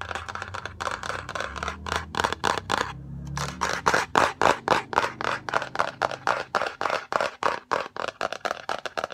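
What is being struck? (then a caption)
Cardboard box. Long pink and red acrylic nails tap and scratch the lid and edges of a yellow Fendi cardboard gift box, a rectangular and hollow box. Rapid, somewhat irregular dry taps with a hollow midrange knock mix with bright scratching, each tap dying away almost at once. There is a brief lull near the three-second mark before the tapping returns louder and faster.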